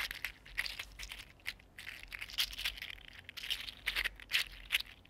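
A small, hollow, articulated purple-green 3D printed PLA plastic mini mermaid fidget slug is flexed and rolled between fingertips. Its segments click and rattle against each other in quick, bright, dry bursts with almost no low end.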